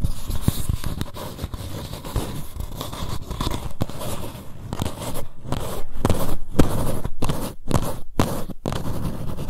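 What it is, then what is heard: Paper cup scratched with nails. Long nails scratch and grip the paper wall of an empty green paper cup held sideways. The result is a steady, irregular stream of dry, papery rasps and scrapes with a heavy low-end thump, broken by a few brief silent gaps toward the end.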